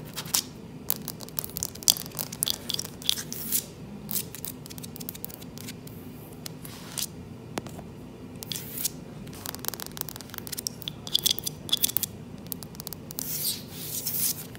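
Long fingernails, fingers clawed, scratch and tap across the boards of a solid, dark-stained wooden plank floor. Dry, crisp scraping and quick clicking taps come in rapid, uneven bursts, with bright high-frequency hiss over a faint low rumble and no ringing after each contact.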